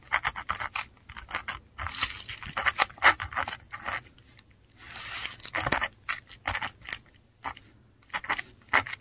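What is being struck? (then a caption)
Textured paper sheet under a metal dip pen nib. A metal dip pen nib writes in ink across a flat sheet of textured Korean paper, forming Italian letters. It makes quick, bright scratchy strokes broken by short pauses, with a few longer rasping drags.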